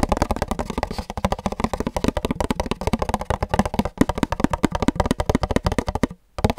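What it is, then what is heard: Empty paper cup. An empty pink paper cup, held close to the mic at varying angles, is tapped rapidly with fingertips. The result is a fast, steady stream of dull, hollow, woody-sounding taps that are weighted toward the low end and die away almost instantly. A brief silence near the end is followed by a last few taps.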